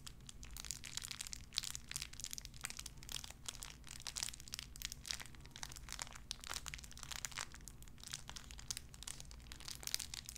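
A small clear plastic bag wrapped around a tiny white figurine is crinkled and squeezed between fingertips with long red nails. The result is dense, continuous, bright crackling made of many sharp, quick snaps over a steady low hum, with no pauses for the whole clip.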